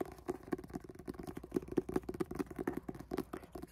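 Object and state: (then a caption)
Paperback book cover. Finger pads tap quickly and irregularly on the red and black illustrated card cover of a solid paperback book held up in the air. About fifteen soft, dull, muffled taps sit around a low-mid thump near 360 Hz, each dying away at once with no ring.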